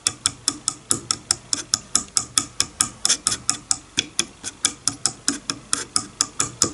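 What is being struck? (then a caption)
Wooden comb teeth. A fingernail plucks the teeth of a wide-tooth wooden comb lying on a bamboo board, repeatedly. About 31 short, bright, dry clicks sound at a slightly uneven pace of roughly two per second. Each dies away almost instantly, with very little low end.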